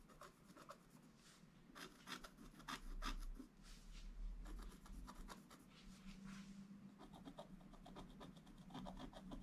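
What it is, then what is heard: Scratch art board being scratched. A wooden stylus scratches repeated strokes across a flat, black-coated scratch art paper board. Quick, dry, raspy strokes come in an uneven rhythm with bright scratchy edges, over a steady faint low hum.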